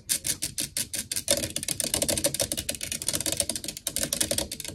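Long acrylic nails quickly tap and scratch, with both hands, on the black metal mesh grille of a blue desktop USB microphone with a hollow head. Rapid, bright, clicky taps start out spaced, then run into a dense, fast scratching patter, with a slight hollow mid-range ring around 560 Hz under each hit.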